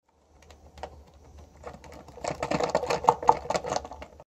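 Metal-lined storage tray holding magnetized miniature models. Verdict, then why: Tight. Stackable gem display trays lined with galvanized sheet metal, holding magnetized miniature models, are shaken as a shake test, producing a quiet, irregular clicking rattle that grows louder and busier in the second half. It takes a lot of force to shake the models loose and only top-heavy metal models shift, so the trays hold plastic models securely for transport.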